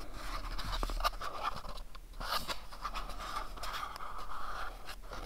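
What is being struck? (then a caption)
Small printed cardboard box. Fingernails tap and scratch the faces of a small, hollow, pyramid-shaped printed cardboard box held in the hands. The result is a quiet, continuous dry scratching with a steady midrange hiss around 1.2 kHz. Short, soft taps and brief bright scrapes poke out of it.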